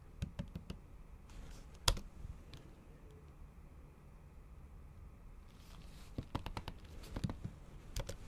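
Slow typing with the tips of long acrylic nails on a MacBook Pro keyboard, its plastic keys under a thin pink patterned silicone cover. About eight short, dry clicks sound with bright ticks over a low, soft thud; one is sharply louder near two seconds. A quiet pause follows before a final cluster of taps.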